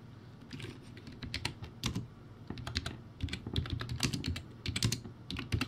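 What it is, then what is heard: Plastic typewriter-style keyboard. Fingertips type on a low-quality backlit typewriter-style keyboard with round white plastic keycaps. Irregular bursts of hollow plastic clacks pair bright clicks with low thuds around 110 Hz. Each stroke dies away almost instantly over a faint steady background hiss.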